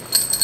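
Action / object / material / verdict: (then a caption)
shake / small box holding thin metal straws / metal / none. A wrapped package holding a set of four thin metal straws decorated with skulls and crossbones is shaken, giving three quick, bright metallic jingles. The high, bell-like clinks are short and light with almost no low end, confirming the item inside is metal.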